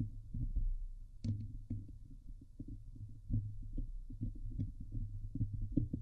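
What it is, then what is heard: Metal mesh microphone grille being scratched. Long nails scratch the hollow steel wire-mesh dome grille of a Blue Yeti microphone. The result is a dense run of low, boomy thumps and rubbing scrapes centered near 117 Hz, with occasional brief bright crackles at sharper strokes.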